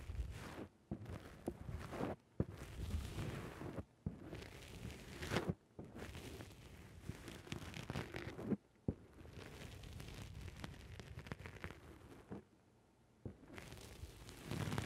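Fingertips press and squish a black rounded foam windscreen on a microphone. The result is bursts of dense, muffled, low-heavy rustling and crackling, broken by brief silent gaps.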